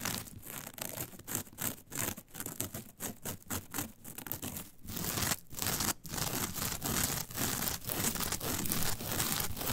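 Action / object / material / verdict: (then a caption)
scrape / coir fiber mat / coir fiber / none. Long nails scratch and dig into a flat, brown, coarse coir fiber mat. Rough, broadband rasping comes in quick, uneven strokes, separated at first. It then thickens into denser, louder scratching with a bright, crackly top.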